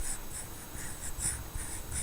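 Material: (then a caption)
Steel. The steel pivot of an Enlan F710 folding knife is slowly worked open close by, giving a continuous low, rough grinding with faint bright scratchy flecks over a steady low rumble. The pivot is too stiff to flick open and needs oil, and possibly taking apart and cleaning.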